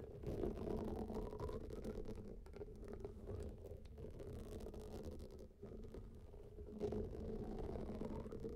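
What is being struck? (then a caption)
Water-filled rubber hot water bag. A large blue textured rubber hot water bag lies flat, filled with water, as both hands scratch and tap its surface with fingertips and nails. The result is a continuous, dense low rumble of muffled scratching and soft tapping, with sloshing tones around the low-mid range and little high-end brightness. Brief dips around the middle and a swell near the end vary the texture.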